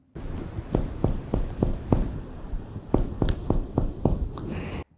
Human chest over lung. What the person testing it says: o pulmão é um órgão que tem ar entremeado ao seu parenquima